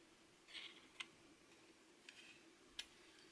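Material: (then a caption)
Plastic. A small, hollow, red translucent plastic MiniDisc cartridge with a metal shutter and the disc inside is held in the fingers while fingertips and nails tap it and trace over its surface. A soft, bright scratchy trace is followed by three sharp, quiet clicks that die away almost instantly over a faint steady hiss.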